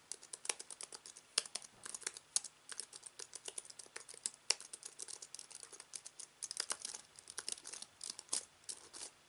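A slim aluminium wireless keyboard with white plastic keys, lying on a fabric surface, is typed on rapidly with the fingertips of both hands. Dense, quick, bright clicky key presses come in uneven bursts with very short decay and almost no low end, a few strokes landing sharper and louder than the rest.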